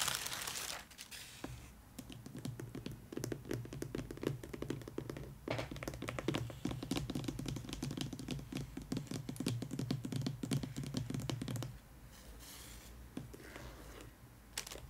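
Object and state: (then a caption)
Paperboard gift box tapped with fingernails. Long pointed nails tap rapidly along the top of a long, white, rigid paperboard gift box with a green and gold ribbon band, resting hollow on tissue paper. The dense, irregular clicking carries a low hollow resonance beneath the sharp, bright ticks. The tapping runs steadily for about ten seconds, then gives way to a quieter stretch with a few faint taps.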